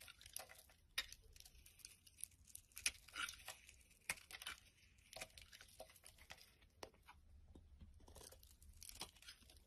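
A utility knife blade shaves and scrapes flakes off a solid oval bar of translucent orange-amber soap held in the palm. Quiet, bright, crisp scraping and crunchy tearing sounds come in short bursts and longer drawn strokes, with a faint low hum underneath.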